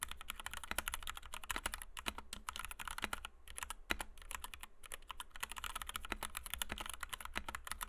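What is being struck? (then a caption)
Plastic mechanical keyboard with PBT keycaps. A compact white 60% Kemove DK61 mechanical keyboard with Gateron Red switches, PBT doubleshot keycaps and a plastic case, resting on a desk mat, is typed on rapidly by the fingertips of both hands. Dense, bright plastic clacks run almost continuously with very short decay, briefly thinning out twice before the fast typing resumes.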